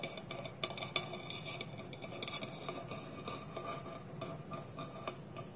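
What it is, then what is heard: Wooden lidded bowl. Fingernails tap a small, polished, hollow wooden bowl with its wooden lid held against it, in a steady ticking rhythm. Each tap is a quiet, dry click with a short hollow ring and a bright tone near 3.5 kHz over a soft low background.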